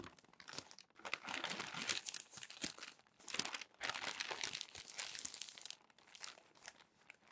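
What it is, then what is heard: Crumpled glossy paper magazine. Fingertips flip over the wrinkled pages of a crumpled glossy paper magazine on a desk. Dense, bright crinkling and crackling comes in uneven bursts with brief quiet gaps, almost no low end and no ring after each rustle.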